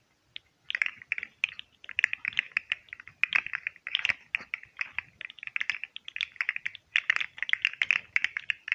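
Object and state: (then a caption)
Plastic segmented fidget slug toy. A green and white hollow plastic segmented fidget slug toy is held close to the mic while fingertips and nails click and flex its jointed segments. The result is a steady stream of rapid, dry, bright plastic clicks in irregular clusters, centered around 2 kHz with almost no low end. Each click dies away almost instantly.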